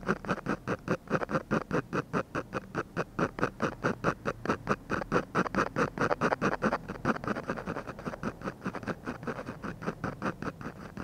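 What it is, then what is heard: Paper sheet under pen strokes. A ballpoint pen scratches short, quick shading strokes across a textured paper drawing sheet beside the nose of a portrait. It makes a steady, rhythmic train of dry, papery scratches, a little over two per second, with a mid-range rasp and little bright hiss. Each stroke cuts off cleanly.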